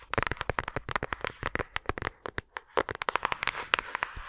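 A flat, thin, empty-looking yellow paper envelope or card is held upright close to a microphone and tapped and scratched with long acrylic nails. A rapid series of short, dry, crisp clicks and papery scratches comes in quick bursts, with a brief pause in the middle, each tap dying away almost instantly.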